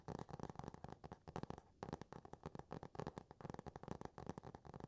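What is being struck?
Laminated cardboard book cover.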